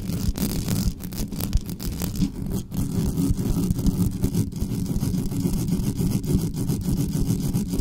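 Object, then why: Metal mesh microphone grille. Long nails scratch fast across the top of the metal mesh grille of a black studio microphone, with no cover on it. The result is a dense, continuous low rumbling scrape made of rapid overlapping strokes, heavy in the bass and almost without high sound.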